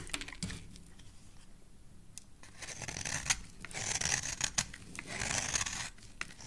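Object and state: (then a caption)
Bar soap being scraped. A hand-held, hand-sized solid white bar soap with a yellow stripe is scraped along its edge by a metal blade, and shavings fall away. The result is dry, bright rasping and scratching strokes with a few sharp ticks, swelling into longer, louder scraping passages. Most of the energy sits in the high range, with little low end.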